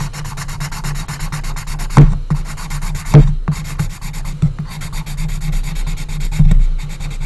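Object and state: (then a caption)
Pencil rubbed on a small wooden box. An orange colored pencil is rubbed rapidly back and forth to fill in a strip on the closed lid of a small, hollow, unfinished light wood coffin-shaped box. This makes a steady, soft, scratchy rubbing over a low hollow hum, broken by a few louder, brief low thumps.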